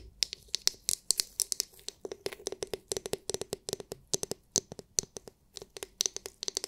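Long nails tap and scratch the hard clear plastic glitter-filled dome of a palm-sized oval massage brush. The result is a steady stream of sharp, bright clicks with a light crinkly scratch between them. Each click dies away almost instantly.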